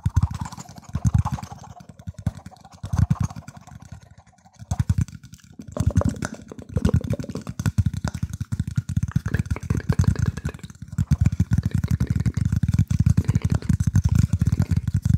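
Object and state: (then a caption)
Wooden plate. Fingertips tap and scratch the underside of a round, shallow, light-colored wooden plate, possibly bamboo, held up close to the microphone. Rapid, dull, low-pitched knocks come in clustered bursts with brief pauses, then run into a steady stream of quick taps and scratches in the second half. Each tap dies away almost instantly.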